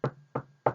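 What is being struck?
Desk.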